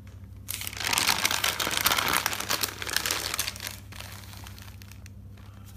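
Fingers with dark nails flip through the pages of a thick bound white paper notebook, making a bright, crinkly paper rustle. The rustling starts after a brief quiet, stays busiest and loudest through the middle, then fades to soft, sparse crinkles over a faint low steady hum.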